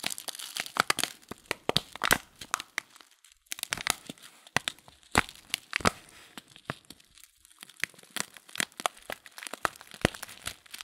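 The folded top of a filled paper tea packet of loose-leaf tea is rubbed and crinkled between fingers. Dense, bright paper crinkles and sharp little crackles come in uneven bursts with brief quieter pauses. Each crackle dies away almost instantly, with very little low end.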